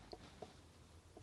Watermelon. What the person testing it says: it sounds sort of solid so I think that one's probably a good one